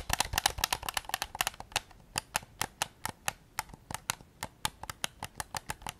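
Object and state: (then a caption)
Plastic game controller. Fingertips tap and click across the shell and buttons of a white hard-plastic PS5 DualSense game controller, a hollow handheld device held in both hands in front of a Zoom recorder. A rapid flurry of dry, bright plastic clicks thins into steadier, evenly spaced taps, each one short with a hollow tone around 800 Hz and no ring.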